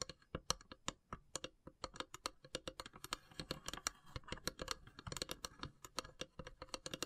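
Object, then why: Carved wooden box tapped with fingernails. Long silver nails tap rapidly on the pierced lid of a long, hollow carved wooden incense box with brass inlays. The taps are quick, dry and bright, each dying away almost at once, with a faint hollow body beneath. Mid-clip they blur into a denser, scratchier flurry before the separate taps return.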